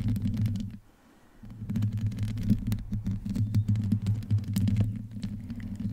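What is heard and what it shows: Long painted nails scratch the rounded, hollow metal mesh grille of a black desktop USB microphone with no pop filter, using both hands. The sound is a dense, low, rumbling scrape with a steady hum around 109 Hz, broken by many quick bright ticks. It fades to near silence for about half a second before the scratching resumes.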